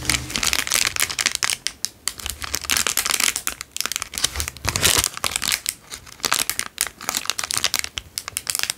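An empty, small, heavily creased clear cellophane-like plastic bag is held in both hands and crinkled with the fingertips. Dense, bright crackling comes in rapid, uneven bursts throughout, with very little low end and no ringing between the sharp snaps.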